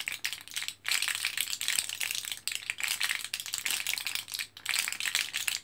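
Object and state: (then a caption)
Blister pack of capsules, rattling. Fingertips press an orange plastic-and-foil blister card of capsules, held foil side up in both hands, making the capsules rattle. A dense, bright crinkling rattle comes in quick bursts, broken by brief near-silent pauses.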